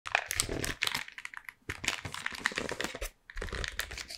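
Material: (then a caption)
Cardboard. Long painted nails tap and trace across the printed front of a flat, hollow Toffifee cardboard candy box held in both hands. The result is a rapid, dense stream of crisp, bright clicks and scratchy crinkling, each very short and dry. It breaks off twice in brief pauses.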